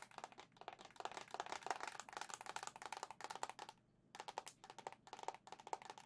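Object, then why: Plastic handheld game console. Long nails rapidly tap the hollow white plastic back of a Zelda-edition Nintendo Switch OLED console held up in the air. The taps are quick, dry and clicky with a slight hollow tone around 760 Hz, in bursts that briefly pause near the four-second mark before resuming.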